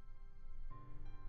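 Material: Nothing is struck.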